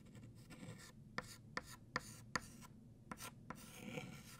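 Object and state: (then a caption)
Chalk writing on a chalkboard. White chalk thickens the letters of the word "New" on a flat black chalkboard. Broadband rasping strokes mix with a series of sharp, evenly spaced taps that have a bright, short, dry attack. A quiet rubbing texture continues between them.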